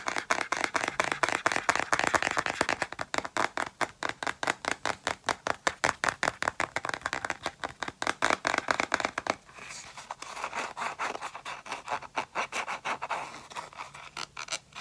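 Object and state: Clear plastic round container.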